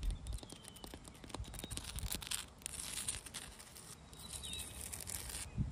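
Long dark red nails scratch and tap on a large, solid, rough granite boulder outdoors, making a quiet run of dry clicks and gritty scraping. Faint high chirps drift through the background.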